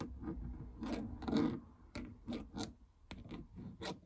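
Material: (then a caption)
Plastic. Fingernails scratch and rub across the plastic membrane keypad buttons of a treadmill console with a hollow housing. The result is a series of soft, dry scraping and rubbing strokes with a low, hollow body.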